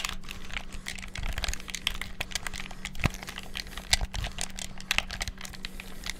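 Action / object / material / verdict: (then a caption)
tap / plastic game controller / plastic / none. Thumbs and fingertips rapidly press the buttons of a black hollow plastic gamepad, making a dense run of sharp, dry plastic clicks and taps. A few louder clacks stand out, and a faint steady low hum sits underneath.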